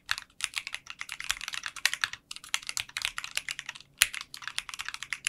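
Fingertips type continuously on a 60% mechanical keyboard with translucent pink polycarbonate keycaps in a clear case. The rapid stream of crisp, bright clacks has almost no low end and each keystroke stops dry, with brief pauses in the rhythm.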